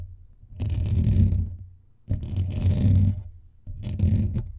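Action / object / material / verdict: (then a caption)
scrape / metal mesh microphone grille / metal mesh / none. Fingertips and nails of both hands scratch fast at the rounded, hollow metal mesh grille of a blue USB condenser microphone on a stand. Three separate bursts of rough, rumbling scraping come through, heavy in low frequencies around 90 Hz, with a fainter bright hiss on top. Brief quiet gaps fall between the bursts.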